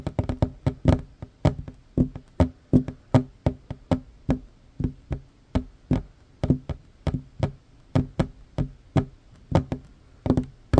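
Both hands tap a flat, solid wooden tabletop with short fingernails, giving 34 quick, dry knocks in an uneven, fast rhythm. Each tap is a short, hollow thud with a low body and a faint bright click, and it dies away almost at once.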